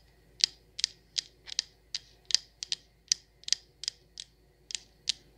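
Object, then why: Glass candle jar with metal lid. Long nails tap a coconut sandalwood patterned candle jar full of wax, first on its side and then on its perforated metal lid. About fifteen sharp, bright clicks come at an uneven pace, each dying away almost instantly with no ring.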